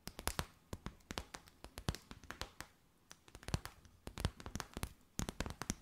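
A clear, stiff, empty plastic bag held in both hands is tapped and crinkled with long white nails. Quick, irregular bursts of sharp, bright clicks and crackles stop almost instantly, with a brief quiet pause near the middle. The overall level stays low.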